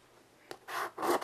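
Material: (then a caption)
Slate. A child's hand draws with white chalk on a small wood-framed chalkboard lying flat on carpet. A brief tick is followed by two longer, rasping chalk strokes across the board surface. The scratches sit mostly in the mid range, with a soft hiss around them.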